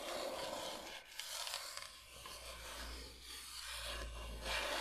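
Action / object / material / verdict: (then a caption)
scrape / bamboo cutting board / bamboo / none. Long nails slowly scratch and rub across a large, flat, solid bamboo cutting board shaped like Michigan. The result is a continuous, dry, bright raspy scraping that swells and fades with each stroke, over a faint low hum.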